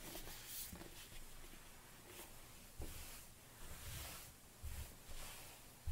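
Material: Nothing is struck.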